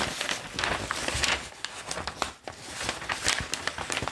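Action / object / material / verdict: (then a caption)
scrape / newsprint newspaper / newsprint / none. A large, thin Globe & Mail newsprint newspaper is held up and lowered onto a table while fingertips grip, flip and crinkle its pages. Bright, dense crinkling and crackling fills the clip, with sharp paper snaps scattered throughout and a brief quieter moment midway.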